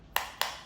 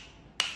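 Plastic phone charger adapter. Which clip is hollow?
The first.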